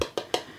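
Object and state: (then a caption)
Hollow-sounding baked sourdough loaf. Three taps on the bottom of a freshly baked, hot sourdough loaf give short, hollow knocks centered near 500 Hz that die away quickly. The hollow sound shows the bread is baked through.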